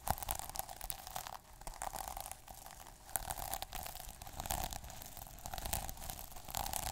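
Fingers scratch across the plastic sequins of a small sequin notebook cover and along the white page edge. The result is a continuous run of dense, crackly scratching with many tiny clicks, a bright steady band near 780 Hz underneath, and a rise and fall in intensity.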